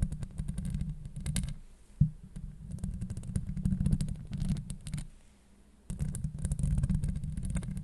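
Long acrylic nails on both hands scratch the hollow steel mesh grille of a Blue Yeti microphone. The result is a dense, rumbling low scrape full of rapid crackling ticks that extend up into a bright fizz. The sound drops away briefly just before 2 s and again around 5–6 s before resuming.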